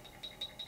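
A Fenix TK41 flashlight is shaken, and the AA batteries sitting loosely inside its body rattle. The rattle comes as a few short, bright clicks over a faint background. It is an unwanted rattle that a sleeve around the batteries could stop.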